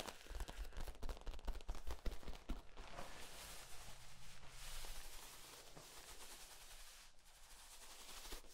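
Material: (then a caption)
Plastic. Hands squeeze the ribs of a hollow, flexible yellow corrugated plastic tube as it is compressed and then extended. A rapid, irregular run of sharp pops with deep low thumps comes first, then eases into a softer, steady crackling rustle.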